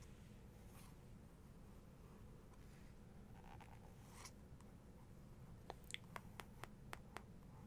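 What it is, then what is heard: Glossy paper book page. Long nails trace across a glossy paper page of a photography book, making soft, faint scratchy strokes over a steady low hum. This is followed by a quick run of seven sharp, bright taps on the printed image.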